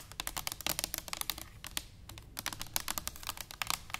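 A tall, hollow stainless steel cylindrical canister standing upright is tapped quickly with long nails and fingertips. The result is a rapid, irregular stream of crisp, bright clicks with a faint metallic tone around 900 Hz, each tap dying away almost instantly.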